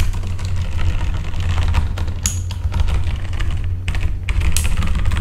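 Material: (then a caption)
Plastic. Fingertips type on a full-size backlit mechanical keyboard with plastic keycaps, the hand moving across the keys. Quick, dry, bright clicks tap out over a steady low hum, with a few brief pauses between bursts of typing.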